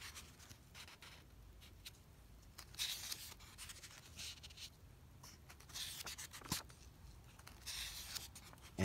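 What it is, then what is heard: Paper comic book pages. Fingertips rub across and flip the thin printed pages of an open vintage paper comic book lying on carpet. Quiet, dry rustling is broken by several brighter, airy swishes as pages turn, plus one sharp papery snap partway through.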